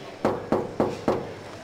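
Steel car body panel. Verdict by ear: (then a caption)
Solid. Four knocks on the original steel bodywork of a classic Rolls-Royce Silver Cloud give short, mid-pitched, solid metal raps with a brief ring. They confirm sound metal on that part of the panel, unlike the filled sections elsewhere.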